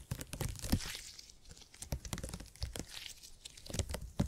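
A purple stretchy gel grid cushion made of hyper-elastic polymer is squeezed, folded and pinched with fingertips. It gives off a rapid run of sticky, crackling snaps and soft low thumps, with bright crinkly bursts between them that sound like tearing.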